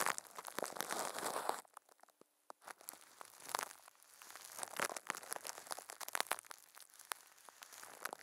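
Thin, clear plastic film wrapped around a microphone head is crinkled and squeezed by a puppet's furry hands, producing close, dense crackling and crumpling with sharp bright snaps. A dense burst of crinkling drops to near silence for about a second, then the crackles pick up again and continue steadily to the end.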